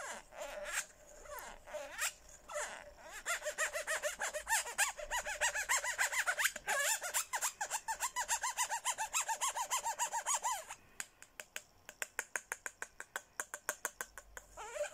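A hollow, handheld pink plastic Hello Kitty cup is rubbed and tapped with a red plastic straw. The result is squeaky rubbing with wavering tones. Fast, dense clicky taps follow, around three per second, with bright, short-ringing plastic ticks and almost no low end.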